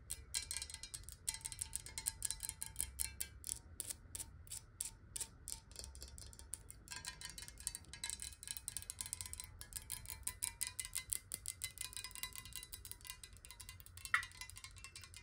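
Long nails rapidly tap the sides of a hollow, clear glass water bottle, partly filled with water, as it is held upright and then tilted. The quick, bright clicking taps barely ring before cutting off and carry a faint glassy tone near 1.9 kHz over a soft low rumble. One sharper tap stands out near the end.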